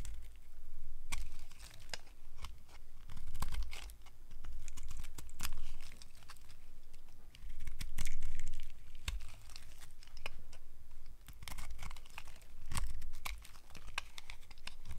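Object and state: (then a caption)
Dry bar soap. A solid, old, dry bar of pale yellow soap is held in the hand and carved with a utility knife blade, with pieces breaking off the end. Crisp scraping and dry crunching cuts come in irregular bursts, with sharp, bright snaps as chunks crack away.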